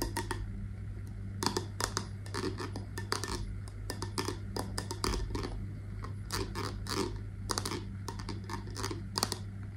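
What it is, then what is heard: Glass candle jar with metal lid. Long nails tap quickly and irregularly on the metal lid and glass sides of a wax-filled scented candle jar. The taps are short, bright clicks that die away almost at once, over a steady low hum.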